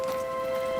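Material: Nothing is struck.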